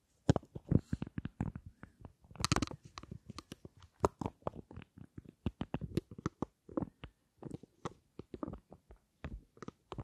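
A small rectangular black and gold lipstick case with a gold frame and dark panels is held above the microphones and tapped with long nails. About two dozen quick, dry, muffled taps come in irregular bursts, each dying away almost instantly. The tone is soft and low-weighted with little brightness.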